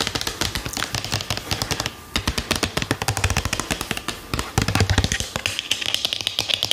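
A medium plastic Balea cosmetic bottle with a red cap and printed label, hollow and likely filled, is held in the hand and tapped rapidly with fingernails. The result is a dense run of short, dry, bright clicking taps with a slight low knock beneath, broken by brief pauses around the two-second and four-second marks.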